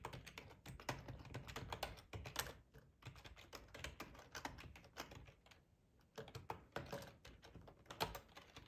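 Fingertips type on a black, hollow-bodied plastic split ergonomic computer keyboard. It makes a steady run of quick, dry tapping clicks with a hollow low thump beneath them. The typing pauses briefly a few times before carrying on.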